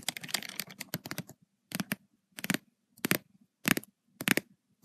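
Long white and red acrylic nails tap rapidly on the paper page of an open lined notebook with black spiral binding. A dense flurry of crisp, dry clicking taps gives way to short clusters of quick taps separated by pauses. Each tap is sharp and papery and dies out almost instantly.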